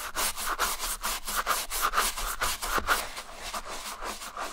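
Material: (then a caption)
Leather. A wooden-handled bristle brush, held in the hand, scrubs the inside lining and collar of a hollow white Adidas Stan Smith leather sneaker lathered with soapy shampoo foam. Quick, uneven back-and-forth strokes give a bright, scratchy rubbing with a faint wet hiss and a slight mid-range tone near 1.4 kHz on each pass. The strokes fade a little toward the end.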